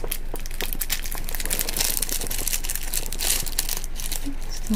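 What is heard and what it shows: Fingertips squeeze and crinkle the thin clear plastic wrap sealed around a small cylindrical roll of white paper sheets held in both hands. The result is a steady stream of bright, crisp crackling and rustling with no clear pauses between sounds.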